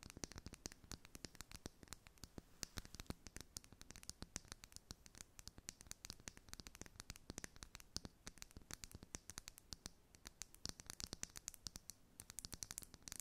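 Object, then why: Small glass cosmetic bottle. A glass makeup foundation bottle is tapped and scratched in a rapid, continuous stream of sharp, dry clicks and scraping. Each tick is bright and stops almost instantly, with no ringing, over a faint low rumble.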